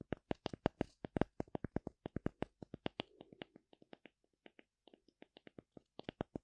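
Long nails scratch and tap across the flat cut surface of a thin, solid, oval slice of light wood with a bark rim, held in the hand. The result is a quick, irregular run of short, dry clicks with very little ring, denser and louder in the first half and sparser toward the end.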